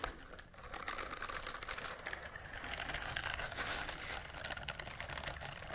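A pink silicone bristled scrubber glove is held out and rubbed and scratched with long nails. The result is a steady, dense run of crinkly, scratchy rustling with many quick bright clicks, holding at an even level for the whole clip after a softer start.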